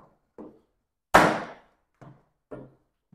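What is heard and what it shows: A hammer is struck against a battery/ESC enclosure: one hard, sharp whack with a bright, quickly decaying crack, surrounded by several lighter, duller taps. The enclosure is left without a scratch or dent, showing it is really solid.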